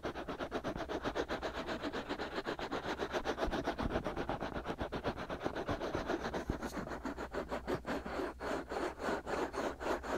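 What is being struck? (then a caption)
Silicone ear pieces of a binaural microphone. Fingertips and short nails continuously scratch and rub the two soft, hollow, white silicone ears of a binaural microphone. The result is a steady, fast run of close, dry scratching strokes, rhythmic but uneven, with mostly mid-range rasp and a few deeper thumps.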